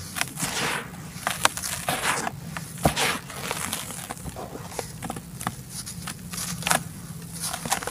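Hands squeeze and break a solid clump of dry red soil in a white plastic tub, crumbling and rubbing it while loose red powder falls between the fingers. Dry, gritty crunching and crackling fill the clip, with frequent sharp, bright snaps as the clump breaks apart over a soft, sandy rustle.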